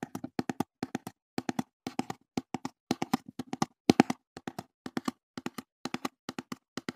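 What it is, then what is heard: Empty cardboard box. Fingertips tap and handle a small, hollow, empty brown corrugated cardboard box held beside the microphone. Dull, hollow knocks centered around 270 Hz come in quick clusters of two to four, each dying away almost instantly. The playing runs steadily for seven seconds, with one slightly louder tap near the four-second mark.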